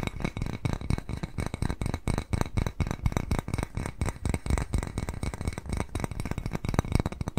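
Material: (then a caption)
Ceramic. Fingernails tap rapidly and irregularly on the glazed surface of a small white ceramic cat-face bowl held in both hands. The taps are dull, short clicks with a faint glassy clink and almost no ring, weighted toward a low thud.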